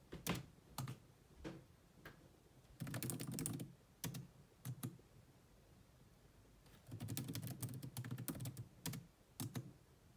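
Fast typing with long manicured nails and fingertips on the dark plastic chiclet keys of a grey laptop with a hollow body. Isolated taps give way to two dense bursts of rapid clicking, each keystroke a short, low, hollow knock with a faint bright tick that dies away almost at once.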